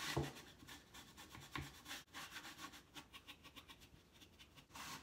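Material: Wood.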